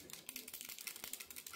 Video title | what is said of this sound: ŞARJLI BASINÇLI ARAÇ YIKAMA MAKİNESİ KUTU AÇILIŞI ve İLK TESTİ, Efsane Ürün | Si sente un rumore di tintinnio all'interno.